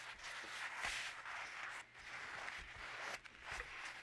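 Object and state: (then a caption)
Toilet paper roll being rubbed and squeezed. A pink paper toilet roll with a visible hollow cardboard core is held in both hands while fingertips rub and squeeze it and unroll sheets from it. A steady, bright, crinkly rustle is heard, concentrated around 2 kHz. It dips briefly near 1.9 s and 3.2 s.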